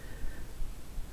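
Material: Nothing is struck.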